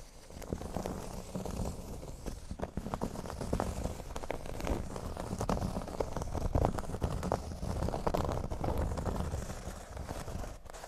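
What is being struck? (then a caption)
Flat cork board. Fingernails of both hands scratch the centre of a large, flat, solid cork board shaped like a speech bubble. The result is a steady, dense crackling scrape made of many quick, short strokes, mostly low and dull in tone with little brightness. Its level swells and dips slightly across the clip.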